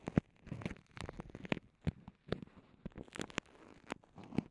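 Long nails and fingertips press, crinkle and scratch a small, clear, soft vinyl zip pouch with microphones inside. The result is a quiet series of close, muffled crinkles and sharp little taps, mostly low and thumpy, with a few brighter clicks and no lingering ring.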